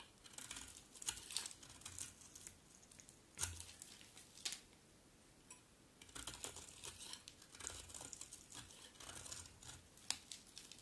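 A utility knife blade scrapes a solid, dry mint green bar of soap into crumbly shavings. The sound is a quiet run of crisp, crackly scraping bursts, bright and brittle with little low end. Short pauses fall between the strokes.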